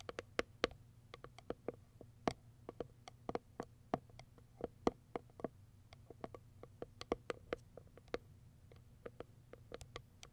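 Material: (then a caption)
Cardboard. Long white acrylic nails tap and scratch the top of a small white printed Kiara Sky cardboard product box. About 34 quiet, sharp, dry taps with almost no ring are spread irregularly over the clip, each a bright click with a hollow tone near 460 Hz, between soft scratching sounds and a low background hum.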